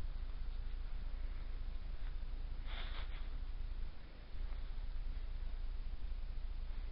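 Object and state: Nothing is struck.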